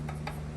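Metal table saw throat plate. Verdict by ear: Tight.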